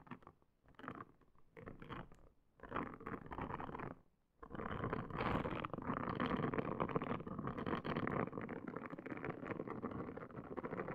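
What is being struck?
Silicone scalp brush.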